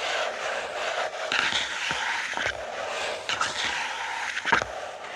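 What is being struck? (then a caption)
Paper notebook page on a wooden table. Fingertips scratch and rub the pages of an open lined paper notebook lying flat on a wooden table. The result is a steady, dry, bright rustling scrape with brief sharper ticks and swipes scattered through it.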